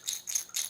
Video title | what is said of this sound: Remote Learning Experience: Week 3 | this one's made of glass and this one's made of plastic, and so they have different sounds